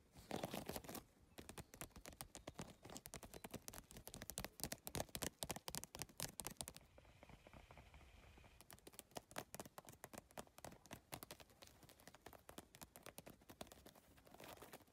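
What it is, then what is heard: Plastic-tiled handbag tapped with nails. Long nails tap fast across the plastic tiles of a hollow holographic geometric PVC-tile handbag resting on fabric. The result is a dense stream of sharp, dry clicks with a bright edge. The tapping pauses briefly around the middle, leaving a faint hiss, before resuming.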